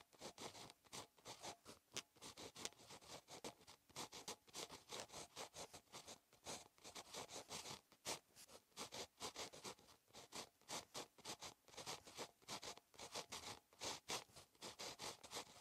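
A ballpoint pen tip, held in fingers, scratches across a solid, flat sheet of lined paper in a notebook while writing Korean cursive. Quick, dry, bright scratching strokes come in rapid, uneven bursts with brief pauses between them. The sound is thin and close, with almost no low end.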